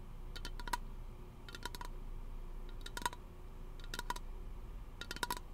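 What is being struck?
Aluminum aerosol can.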